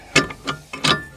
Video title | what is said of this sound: 2020-21 Chevy/GMC HD 2500/3500 Curt 5th wheel hitch Install And Review! | in its locked position you should hear no rattling when you shake this thing hard